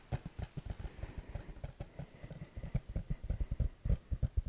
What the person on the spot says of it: It definitely sounds different than the regular case.